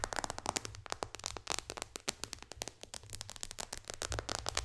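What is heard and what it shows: Long dark fingernails from both hands tap quickly on the glass touchscreen of an iPad resting flat on a lap. The result is a dense, rapid stream of sharp, bright clicks that stop instantly, over a faint low hum.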